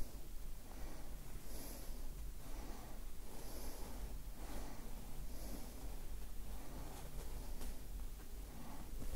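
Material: Nothing is struck.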